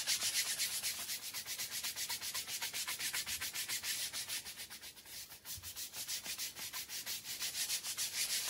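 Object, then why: Damp woven pile rug scrubbed with a hand brush. A handheld brush scrubs the pile of a small, damp, fringed Persian rug with a faded pattern, lying flat on a tiled floor, in long strokes while a second brush rests on the floor. It makes a fast, steady run of bright, hissy scrubbing strokes with almost no low end, dipping slightly in the middle before picking back up.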